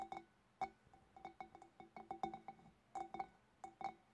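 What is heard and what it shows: Long black nails tap with both hands on the shoulders of a large, hollow, empty clear glass fish bowl. An irregular series of quick, clinking taps sounds, each giving a short, bright glassy ring with a steady tone around 780 Hz. Some taps come in quick pairs, with quiet gaps between them.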